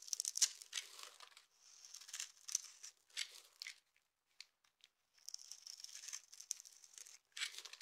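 A utility knife with an orange handle scrapes flakes off a hand-sized, solid, dry blue soap bar held in one hand, then cuts it into small cubes. Bursts of dry, bright scraping and crisp cutting come in uneven clusters separated by short pauses. There is almost no low end, and the sound is thin and high, like tearing.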